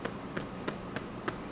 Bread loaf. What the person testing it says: you're going to tap it and it's going to sound hollow then you know your bread is finished